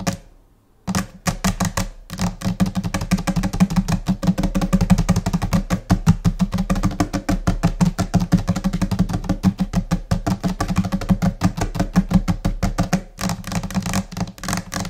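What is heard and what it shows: Long nails of both hands, with possibly some fingertip taps, tap fast and chaotically on a flat, solid white laminated desk top, likely laminate over particleboard or MDF. After a brief silent moment at the start, there is a dense, irregular stream of short, dry clicks with a low, hollow knock underneath. Each tap dies away almost instantly, with a short pause near the end before the tapping resumes.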